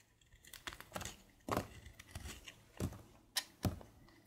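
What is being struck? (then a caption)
Bar of soap. A solid light-blue bar of soap is carved with a red patterned blade, beside a pile of soap shavings. Soft, dry scraping strokes are broken by several crisp, sharp cuts with a low thud beneath them, each dying away almost at once.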